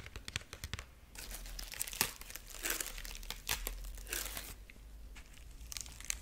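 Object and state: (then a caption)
Dried corn husk figurine scratched. Long nails scratch and rub the dry husk strips of a dried corn husk rabbit figurine. The result is close, bright crinkling and rustling, with quick sharp ticks and scratches broken up by longer dry, papery scrapes.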